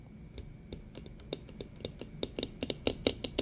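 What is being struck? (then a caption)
Plastic pump bottle of liquid soap. A medium-size clear plastic pump bottle of green hand soap, partly full of liquid, is tapped and scratched with fingertips and nails. The result is a string of short, dry, bright clicks that grow louder and more frequent toward the end, with faint scratching in between.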